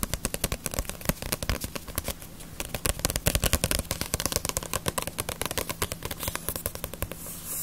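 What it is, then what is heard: Paperback manga book. A paperback *Ace of Diamond* manga with a glossy paper cover is held in the hands and tapped with fingertips and nails. The result is a fast, uneven run of many short, dry, crisp taps with no ring. A steady low hum sits underneath, and a brighter hiss swells at the very end.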